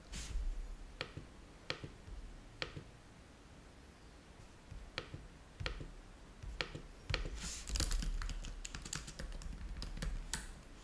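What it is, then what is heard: Plastic laptop keyboard. Fingertips of both hands type on a black plastic laptop keyboard with low-profile keys, while a controller lies unused nearby. Sharp, bright key clicks come sparse and irregular at first, then quicken into a denser burst of typing toward the end. A steady low hum runs underneath throughout.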